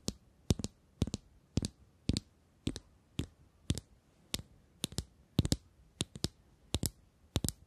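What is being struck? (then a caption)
Small metal cylindrical tube case. A small, shiny, hollow metal cylindrical tube case with a gold ring is tapped and scratched with long nails while held close to the microphones. About 25 sharp, bright clicks land mostly in quick pairs at a steady pace, each with a dull low body and almost no ring before it cuts off to near silence.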